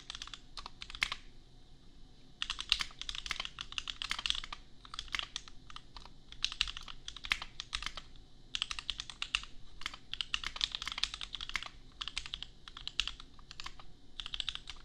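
A custom 60% mechanical keyboard with Gateron Milky Yellow switches and red and white plastic keycaps, resting on an anime desk mat, is typed on with the bare fingertips of both hands. Rapid bursts of bright, crisp plastic clacks come with short pauses between them. Each keystroke stops dead with no ring.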